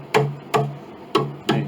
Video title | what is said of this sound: Chickering 33B 1867 Conservative Restoration Part 9 | They ring a little bit. They weren't like that before.